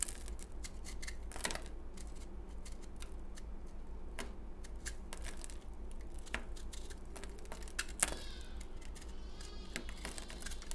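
A utility knife blade scrapes a palm-sized, solid, crumbly, porous pale green bar of dried soap held in the hand, crumbling it to powder. Quick, dry, bright scratchy ticks and crackles come in irregular bursts over a steady low hum.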